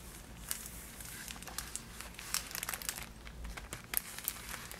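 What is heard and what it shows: A Niederegger marzipan box made of cardboard, with a clear plastic window and filled with wrapped pieces, is handled as long nails tap and scratch the plastic window and crinkle the box. Quiet, bright crinkling and scratching fill the clip, broken by many sharp little clicks over a steady low hum.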